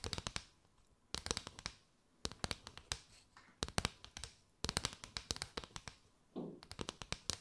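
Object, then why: Paper straw mat. Long white nails tap and scratch across the ridges of a flexible mat made from a row of gold-and-white chevron hollow thin paper straws, held curved over the mic. Quick bursts of crisp, dry, bright clicks die away almost instantly, separated by short pauses. A brief rasping scratch near the end has a fuller, lower tone.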